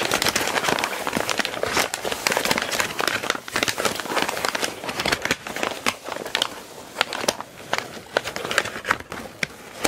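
Long nails and fingertips tap and scratch a flattened sheet of crumpled brown kraft packing paper lying on a surface. The result is a dense, bright crinkling and crackling, with sharp ticks and papery scratches throughout and almost no low end.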